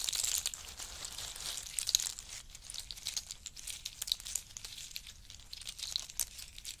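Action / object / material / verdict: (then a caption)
shake / in-shell pistachio pile / nut shells / none. Fingers dig into a pile of in-shell pistachios, scooping up handfuls and dropping them back. The shells make a dense, bright clattering and crinkling rattle with almost no low end, rising in sharper clicks as the handfuls fall.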